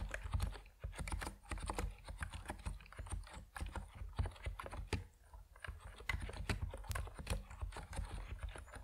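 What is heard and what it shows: Fingertips type steadily on an Epomaker NiZ Plum Atom 68, a compact plastic mechanical keyboard with white and purple PBT keycaps. The result is a quick run of short, dull clacks with deep, low-heavy energy and very little high ring, each keystroke dying away almost at once.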